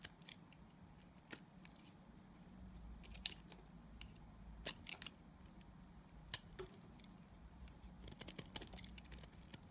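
A utility knife blade scrapes a solid, translucent yellow glycerin soap bar. Bright, crisp scraping clicks and short shaving rasps come in irregular bursts over a quiet low background hum, each dying away almost at once.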